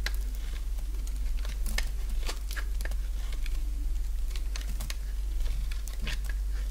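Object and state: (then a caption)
Dry bar soap being carved. A solid bar of dry pink soap, held in the hand, is shaved with a box-cutter blade. Short, bright scraping and cutting ticks come in a quick irregular run over a steady low hum.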